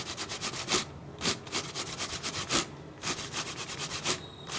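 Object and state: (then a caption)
Plastic water bottle. Fingertips rub and scratch the base and ribbed sides of an empty, hollow, clear PET plastic water bottle. They make a run of bright, hissy scratching strokes with short crackly bursts over a quiet background.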